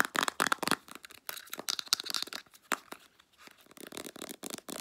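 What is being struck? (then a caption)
Plastic squeeze tube with flip cap. Long nails quickly tap and scratch the body and white plastic flip cap of a full-looking 150 ml Clearasil plastic squeeze tube of face wash. The result is a rapid, dry run of bright clicks and crinkly scratching with almost no low end, and each tap dies away instantly.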